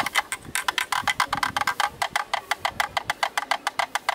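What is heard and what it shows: A thin bamboo stick taps the round bayonet ring on the mount side of a hollow black plastic camera lens hood. There are 27 quick, dry, hollow clicks with a woody, block-like tone centred around 1 kHz and a bright upper edge. Each tap dies away almost instantly, with little low end.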